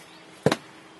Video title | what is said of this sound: Cincinnati House - Tirewall Part III | tamp that a couple times, so you get that dull thud